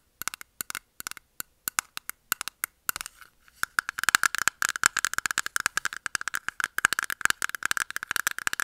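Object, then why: Small clear plastic jar. Long nails tap and scratch a small, round, clear plastic jar-type container, closed and holding pink makeup puffs, held in the hand. Sharp, dry plastic clicks come spaced apart at first, then become a dense, rapid run of tapping and scratching with a bright ring centered around 1.6 kHz. Each click dies away almost instantly.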